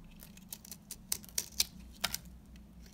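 A metal cutter blade scrapes and shaves curls from the face of a small, solid, dry rectangular orange soap bar held in the fingers. About nine crisp, bright, dry scraping crackles come at an irregular pace over a faint low steady hum. Each one stops almost instantly.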